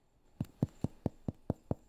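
Seven evenly spaced taps on the bottom of a cooled, fully baked sourdough loaf produce short, low, hollow thuds with almost no ring. The hollow sound indicates the bread is fully cooked inside.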